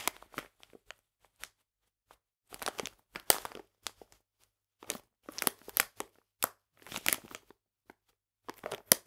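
A full, printed plastic package of polenta is squeezed and crinkled in both hands. Bright, crisp crackling comes in short irregular bursts and clusters, separated by brief silences, with almost no low end.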